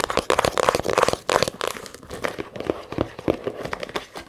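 Long nails tap and scratch fast on the leather top of a small, hollow brown leather camera case that lies partly unzipped on a table. The result is a dense, crinkly patter of quick, dry taps with a midrange body and scratchy hiss. The first second and a half is loudest before the taps settle into a softer, uneven rhythm.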